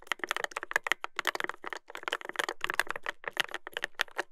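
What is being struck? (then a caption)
Mechanical keyboard with brass plate and plastic keycaps. Fingertips type steadily on a Dolphin 2021 mechanical keyboard with a brass plate and dark plastic keycaps. The result is a quick, continuous run of crisp, bright clacks with short pauses between bursts, each keystroke dying away almost at once.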